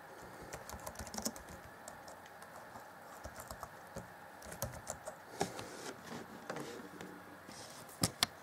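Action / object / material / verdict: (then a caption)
tap / plastic chiclet laptop keyboard / plastic / none. Fingertips type sparsely on the black plastic chiclet keyboard of an Acer Chromebook C20 (2014) laptop, producing about eighteen short, dry, clicky key taps with a bright edge over a faint hiss. The taps come in loose clusters and finish with two sharper, louder clicks before the hands leave the keyboard.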